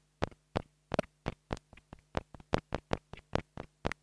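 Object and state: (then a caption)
Plastic mini lavalier microphone. A small black plastic mini lavalier microphone, held between the fingers, is tapped repeatedly with a wooden stick. It produces a steady series of short, dry knocks centered low-mid around 500 Hz, with a few quick double taps. A faint low hum sits underneath throughout.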